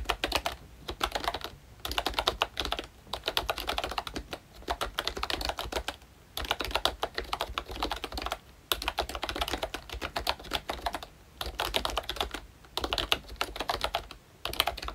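Both hands type with their fingertips on a pink plastic ROYCHE Disney Mickey Mouse retro membrane keyboard with round black keycaps. Quick, short clicky taps come in bursts with brief pauses between them, sounding bright and light with little low end.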